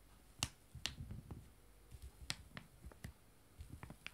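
Two joined, small, full foil-laminated wet wipe sachets lie flat while one hand taps them with fingertips and nails. The result is an irregular series of quiet, sharp, bright clicks over soft low thuds, each dying away almost instantly.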